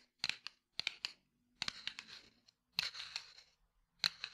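A small red and white cardboard matchbox, held in one hand, is tapped and scratched with the fingertips and nails of the other hand. Sharp, dry clicks and short scratchy bursts come in several uneven clusters, bright and high with almost no low end. Each sound stops almost instantly.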